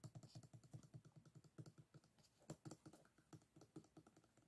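A closed bamboo folding fan lies on a table while fingertips and nails tap and flick along the edges of its bamboo ribs. The result is a quick run of soft, dry, low-pitched clicks with a faint bright tick on top, each dying away almost at once. About thirty-two taps sound at an uneven, typing-like pace.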